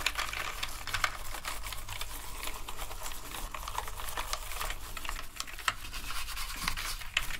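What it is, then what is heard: Plastic keyboard being scrubbed. A toothbrush scrubs the keys of a black plastic gaming keyboard covered in foam during a deep clean. The sound is a steady wet, scratchy brushing with bright bristle rasps and small plastic clicks over a constant low hum.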